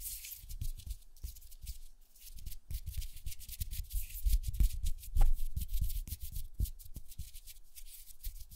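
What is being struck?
Foam microphone windscreen.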